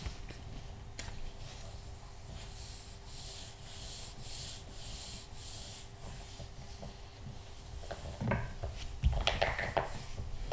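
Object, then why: Glossy paper magazine pages. Fingertips rub and stroke across the glossy printed paper pages of an open interior-design magazine lying flat on a knitted blanket. A soft, steady rhythm of dry, bright swishing strokes runs over a faint low hum. Near the end it turns louder, with sharper crinkly brushing.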